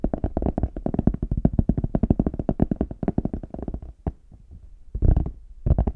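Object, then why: Faux leather hard shell case. Fingertips and nails tap rapidly on the smooth back of a small, hollow, brown faux leather hard case held in both hands. The taps are dull, hollow, low knocks that stop almost instantly. After about four seconds the tapping thins to a few soft taps, then two louder bursts follow.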